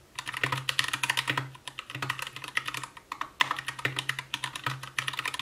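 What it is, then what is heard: Plastic mechanical keyboard. Continuous typing with the fingertips of both hands on an Anne Pro 2 60% mechanical keyboard with white plastic keycaps, a translucent case, RGB backlight and Gateron brown switches. Fast, overlapping keystrokes make short, bright plastic clacks with a soft low thump under them. The irregular bursts of typing pause briefly between words.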